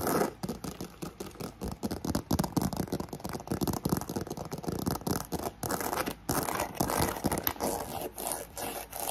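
Long nails scratch fast and hard at the handles of a black croc-embossed faux leather handbag, then across the front and side of the embossed leather. The result is a dense run of rough, scraping bursts with brief gaps between them. A fan hums steadily in the background.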